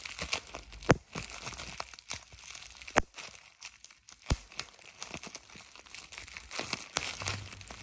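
A thin, clear plastic bubble wrap sheet with air-filled bubbles is held in one hand while the thumb and fingertips squeeze it. The bubbles pop in sharp, irregular cracks, three of them especially loud, over a steady crinkling of the sheet.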